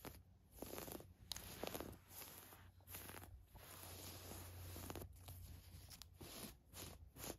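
Long nails scratch and tap a navy floral woven fabric camisole top with lining and a tag. The result is a series of dry, bright scratchy rustles and soft taps over a low steady hum.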